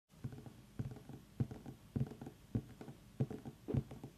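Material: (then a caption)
Pumpkin rind. Long nails tap around the ribbed skin of a small whole orange pumpkin with its stem on, resting on a wooden table, using both hands. The taps are soft, dull and low-pitched, with very short decay and no brightness. They land in a loose, uneven patter of about two per second, with a few stronger knocks standing out.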